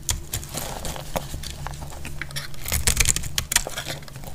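A metal blade cuts the edge of a dry, solid red soap bar held in the hand. Quick, dry scraping and crumbling clicks repeat over a low steady hum, with a few brighter, sharper snaps toward the end.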